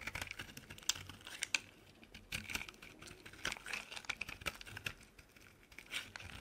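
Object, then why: Bar of soap scraped by a metal blade. A metal utility blade scrapes thick flakes off a solid white bar of soap. A rapid series of short, crisp, bright scraping and crackling strokes follows, each dying away almost instantly, with a faint hiss between them.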